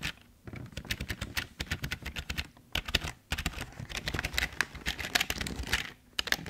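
Fingertips type steadily on a full-size, hollow, tilted black plastic Logitech keyboard. The bright, dry clicks and soft low thumps come in quick bursts, with brief pauses near the start, around the three-second mark, and near the end.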